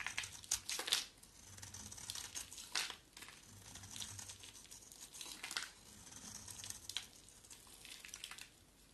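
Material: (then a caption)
Soap. An oval, solid pale yellow bar of soap with a black coat is shaved with a box cutter blade, scraping and flaking off. It makes a run of bright, dry, crinkly scrapes and crackles, with sharper strokes standing out at irregular intervals and almost no low end.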